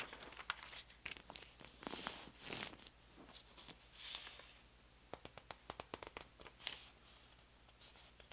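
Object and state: Newspaper pages being rubbed and flipped.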